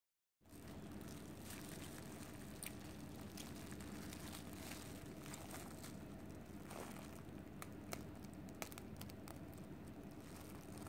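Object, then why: Cooked rice ball wrapped in plastic film. A palm-sized, solid mound of cooked white rice tightly wrapped in clear plastic film is held in both hands while fingertips and long painted nails press, squeeze and rub the wrap. A quiet, steady crinkling fills the clip, heavy in low rustle with occasional sharp, bright nail clicks cutting through.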